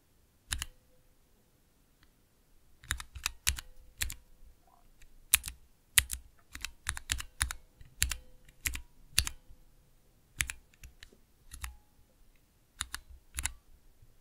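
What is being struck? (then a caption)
Plastic mechanical keyboard switch tester. Fingertips press and tap the keys of a small 3x3 plastic mechanical keyboard switch tester, with clear plastic keycaps on Cherry MX switches in a clear plastic base, resting on dark velvet. Sharp, bright clacks with a soft low thump land in an irregular typing rhythm, separated by short pauses. Each click dies away almost instantly against a quiet background.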